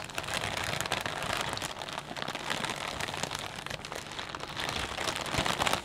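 Hands squeeze and crinkle a clear plastic bag full of potato chips. The result is a continuous, dense crackling and rustling that stays bright and steady for about six seconds, with many quick overlapping crinkles and little low-end weight.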